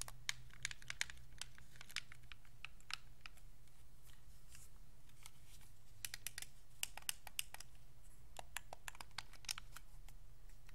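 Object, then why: Hard plastic game controller. Thumbs press and click the face buttons, d-pad and sticks of a white Xbox 360 controller made of hollow hard plastic, held in both hands. Quick, sharp, bright plastic clicks come in irregular bursts over a steady low hum, each click dying away almost instantly.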